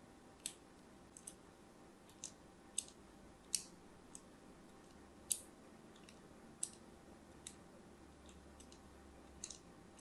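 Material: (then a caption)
Soap. A thin blade scores crosshatch lines into the surface of a solid, palm-sized, orange-and-white striped soap bar held in the hand. Thirteen quiet, sharp, bright scratching clicks come at irregular intervals over a faint steady hiss, each dying away almost at once.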